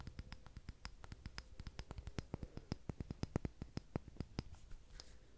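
A filled dark green glass candle jar with a paper label is held in both hands and tapped and scratched with long red-painted nails on the glass and the label. Quick, dry, clicky taps come in a steady rapid series, each dying away almost at once, with faint scratching between them and bright ticks over a low, dull body.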